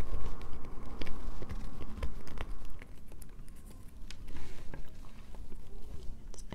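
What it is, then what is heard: Bar soap scraped. Long nails scrape a solid light-blue bar of soap, with the shavings falling onto a paper towel. The result is an irregular stream of dry, scratchy crackles and sharp bright ticks over a low, muffled rumble, easing slightly toward the end.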